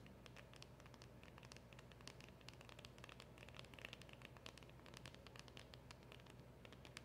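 Long acrylic nails tap fast on the front of a small, hollow black cardboard packaging box with a round emblem sticker. The sound is a quiet, steady run of crisp, bright clicks over a low, hollow murmur, with each tap decaying quickly.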